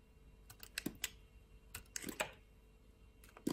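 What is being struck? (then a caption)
Bar of soap cut with a blade. A box-cutter blade scrapes and slices layers off a solid purple bar of soap, making a series of short, crisp, bright clicks in uneven clusters. Each cut ends almost instantly, with quiet pauses between the bursts.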